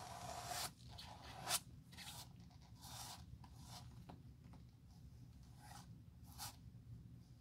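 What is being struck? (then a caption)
Leather shoe sole. A bristle brush is rubbed back and forth over a worn, solid leather shoe sole held in a gloved hand, spreading dark glue across it. Soft, bright, bristly swishes come in irregular strokes over a steady low hum, with one sharper scrape standing out near the middle.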